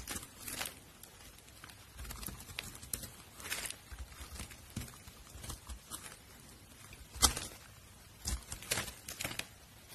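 A metal utility blade scrapes and cuts flakes from the face of a solid, translucent pink glycerin soap bar held in hand. The result is a quiet series of short, crisp, bright scraping and shaving bursts with a papery crackle, plus one sharper, louder cut partway through.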